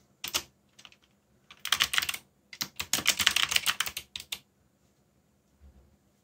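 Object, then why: Plastic mechanical keyboard keys. Fingertips type on a backlit plastic mechanical keyboard with black plastic keycaps, pressing the keys repeatedly in uneven bursts. The keystrokes are short, bright clicks with almost no low end. They cluster into quick runs with brief pauses and trail off to a faint tap near the end.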